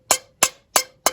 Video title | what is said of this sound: HAPPY (BELATED) NEW YEAR ! | I can't see a crack in here for love nor money, but obviously it's absolutely cracked